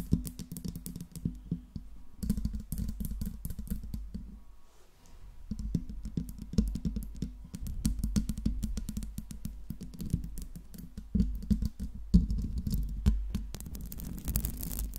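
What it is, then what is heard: Metal microphone grille. Long nails tap and scratch all over the metal mesh grille of a silver Blue Yeti microphone. Dense, rapid clicks and scrapes run almost continuously, with a low, boomy body around 176 Hz and a brief quieter lull near the middle before the tapping resumes.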